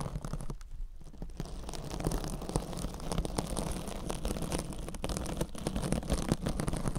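Long acrylic nails scratch and tap across a rectangular, hand-sized kitchen sponge wrapped in glittery silver metallic scouring mesh, soft and compressible, held against the microphone. The result is a continuous, dense run of close crunchy scratching and crinkling with a heavy, rumbling low end and quick taps throughout.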